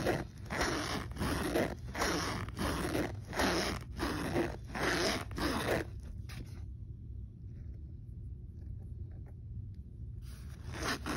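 A hand zips the pocket of a black polyester backpack, with a metal zipper pull and logo patch, open and shut in quick back-and-forth strokes. Each stroke gives a dry, raspy zipping burst across a broad range of tones. The strokes run steadily for about six seconds, stop for a quiet stretch of low hum, then start again just before the end.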